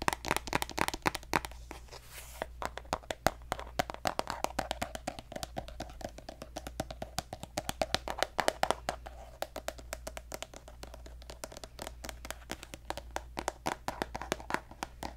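A hollow pink plastic lotion tube with a gold cap is tapped rapidly with fingertips and nails while being turned in the hand. The result is a dense stream of short, dry, hollow clicks centered around a mid pitch with bright edges, each dying away almost instantly, over a faint steady low hum.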